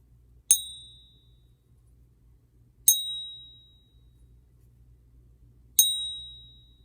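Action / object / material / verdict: strike / silver coin / silver / real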